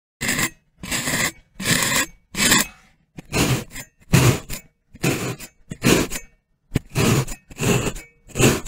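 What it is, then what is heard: Kinetic sand block. A metal fork's tines are pressed and stabbed in repeated rows into the top of a solid, hand-sized, molded rectangular brick of pink kinetic sand resting on a white surface. About fifteen crunchy, scratchy punctures are heard, each a short broadband burst with bright grainy hiss and a soft low thud, separated by brief silences at an uneven pace.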